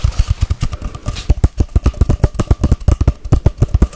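A long, hollow white-grey cardboard tube, held horizontally and then upright, is tapped rapidly with long white-painted nails. About thirty quick, deep, hollow thumps follow in a steady, fast rhythm, each low and boomy with a very short ring and little high-end brightness.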